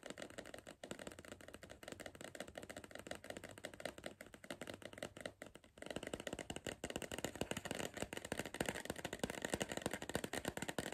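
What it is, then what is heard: Cardboard crisp tube tapped. Fingertips and nails of one hand rapidly tap the side wall of a tall, hollow Pringles cardboard crisp tube held in the other hand. The sound is a dense stream of short, dry, hollow clicks and knocks with a mid-range body. Just before the halfway point the tapping becomes louder and brighter.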